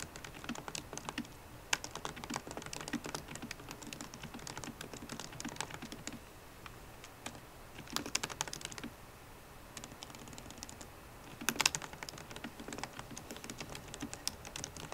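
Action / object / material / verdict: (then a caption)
tap / laptop keyboard with plastic keys in an aluminium case / plastic, aluminium / none. Fast typing with long nails and fingertips on a MacBook Pro laptop keyboard, with plastic keycaps set in an aluminum body. A steady stream of quiet, bright, sharp taps and clicks runs throughout, with brief louder flurries around 8 and 11.5 seconds. Each tap dies away almost instantly.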